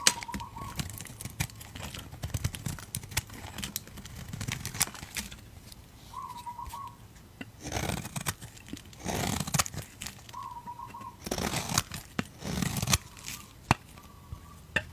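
A utility knife blade scrapes and shaves a solid, rectangular blue-grey soap bar with a dark coating, held in fingers with red nails. Soft, crinkly scraping and ticking runs throughout, with longer, brighter rasping shaves around 8, 9–10 and 11–13 seconds. A faint short chirping tone recurs a few times in the background.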